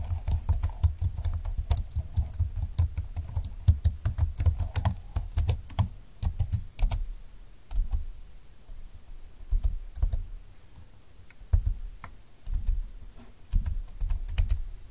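Slow fingertip typing on a full-size plastic scissor-key keyboard with a silver plastic frame, dark flat keys and a hollow plastic body. Soft, short, low thuddy key taps, each with a faint bright click on top, come in irregular runs, denser in the first seven seconds and then sparser with brief pauses.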